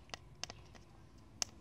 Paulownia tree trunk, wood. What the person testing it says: it sounds hollow and dead this sounds dead completely